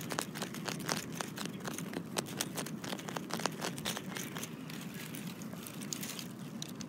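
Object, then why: Granite boulder. Fingertips and short nails scratch the rough surface of a large, solid, speckled granite boulder resting in dry leaves. A dense, crackly scratching runs throughout, with many short, sharp clicks over a steady low rumble.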